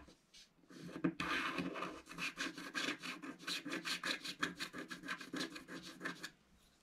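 A wooden stylus scratches petal shapes into a black-coated scratch-art card in a book. A few faint scrapes lead into a louder, sustained scrape, then a steady run of quick, rhythmic strokes with a dry, bright, papery rasp. The scratching stops abruptly, leaving near silence.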